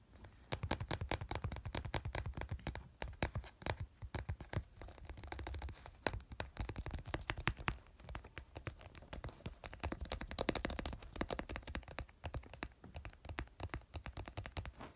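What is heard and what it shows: A small white plastic glue tube with a teal label, lying on yellow fabric, is tapped and scratched with fingernails. The result is a quiet, continuous run of rapid, dry clicks and scratchy scrapes with short bursts, heavy in low-end thump, over about fifteen seconds.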